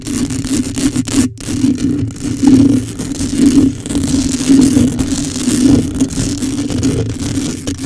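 Long pale acrylic coffin nails on both hands rapidly scratch the rounded, hollow metal mesh grille of a black USB condenser microphone. The result is a continuous, dense scraping and rustling texture with a steady hum-like band around 260 Hz, rising and falling in waves. No voice is heard.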